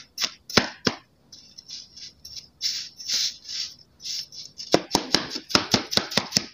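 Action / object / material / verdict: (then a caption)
strike / kinetic sand cut with a steel knife on a table / kinetic sand / none. A steel kitchen knife chops pre-sliced solid pink kinetic sand hearts into crumbly pieces, its blade hitting both the sand and the table. A few sharp, bright knocks open the clip, followed by soft, hissy crumbling scrapes as the sand breaks apart. It ends in a quick run of crisp taps against the table.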